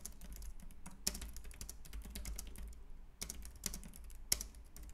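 Fingertips type on the round plastic keys of a white, compact plastic Logitech K380 wireless keyboard resting on a wooden desk. A steady run of quick, light, bright clicks and taps is heard, with a few sharper louder strokes, over a low background rumble. Each keystroke dies away almost instantly.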